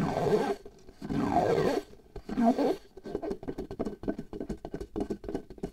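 A pale latex glove membrane is stretched taut over the mouth of a small hollow glass jar held in one hand, and long nails tap and scratch the latex, at times near the jar rim. Three broad, hollow scratching swells with a low-mid resonance come first, followed by a quick, uneven run of dull, short taps on the membrane.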